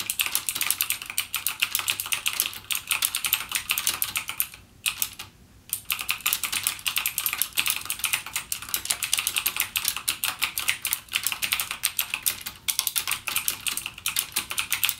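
Fingertips type rapidly on a backlit plastic mechanical gaming keyboard with clicky Cherry MX Blue switch keys, producing a dense stream of sharp, bright clicks. The typing pauses briefly around the five-second mark before resuming at the same quick pace.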